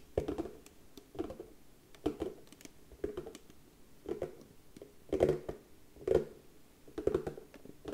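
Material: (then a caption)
Wood. Slow tapping on a wooden surface makes quiet, dense patter-like hits that come in loose clusters about once a second. The taps are short and dull, ring out only briefly, and center on a low-mid tone with almost no high-frequency content.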